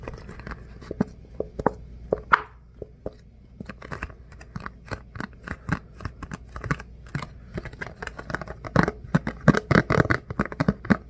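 A rectangular clear plastic food container with its lid on, hollow and empty, is held in both hands and tapped and scratched with the fingertips and nails. Quick, dry plastic clicks and scratchy taps with no ring come in irregular bursts, sparse at first and growing denser and louder toward the end.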